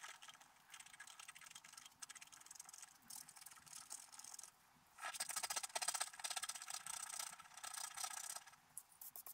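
A wooden stylus scratches the black coating off a scratch-art paper card held flat, scratching out a squirrel with colorful autumn leaves. Quick, dry, high-pitched scratching strokes come in short bursts with brief pauses. They grow louder and denser from about five seconds in, then ease off toward the end.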